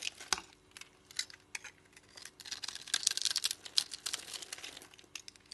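A solid oval bar of soap with a colored striped coating and white interior is held in the hand and shaved into small cubes with a utility knife blade. Quiet, dry, bright scraping and crisp cutting ticks come in irregular bursts with no low end and no ring, over a faint steady hum.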